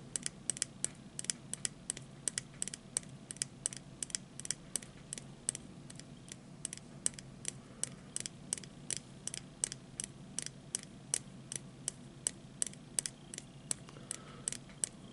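A small hollow plastic disposable lighter with a red base, white printed body and metal hood is held in one hand and tapped with the fingertips and short nails of the other. Around fifty sharp, bright clicking taps come in a steady, fairly quick series, each dying away almost at once over a faint low background hum.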